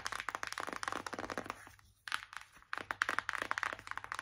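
Long acrylic nails tap and scratch quickly across a closed, flat, hollow white Revolution cardboard palette. Rapid, uneven dry clicks and scratchy, crinkly rasps sit mostly in the mids with a bright edge, and there's very little low end. The tapping fades into two short lulls, near the two-second mark and again just before three seconds, then picks back up fast.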